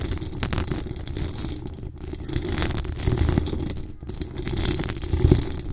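Long acrylic nails on both hands scratch steadily at the hollow metal mesh grille of a decorated pink microphone. The result is a continuous, dense, low, rumbling scratch with faint crackly detail on top. It swells and fades in slow waves throughout.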